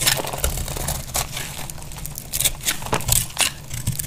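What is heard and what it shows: A box-cutter blade carves and scrapes flakes off a solid, dry, palm-sized lilac soap bar held in one hand with long pink nails, and the shavings pile up below. Crunchy, crackling cutting strokes come in quick bright bursts over a low rumble.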